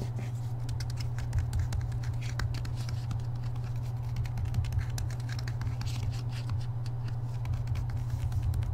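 Fingertips and nails tap quickly on the glossy card front cover of a paperback copy of *Harry Potter and the Deathly Hallows*, a solid block of paper held upright. A dense, continuous stream of short, dry, bright clicks rides over a steady low hum near 100 Hz.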